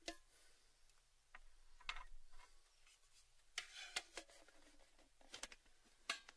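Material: Sheet metal.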